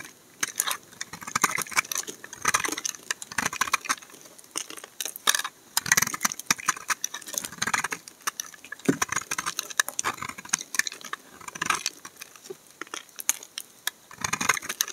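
A solid bar of amber laundry soap, held in the hand, has shavings carved and scraped off its corner with a utility knife blade. The result is a dense run of short, crisp scraping and crackling strokes with a bright, high-pitched rasp and almost no low end.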